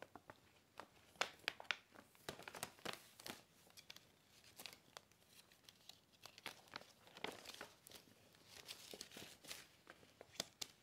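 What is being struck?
Paper gift bag.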